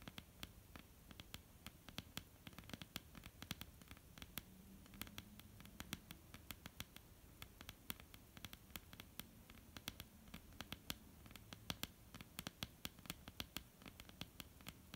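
Long almond-shaped painted nails tap and scratch across a flat, solid wooden tabletop. Quiet, rapid, irregular clicks with very short decay sound over a soft, steady scratching hiss and a faint low hum throughout.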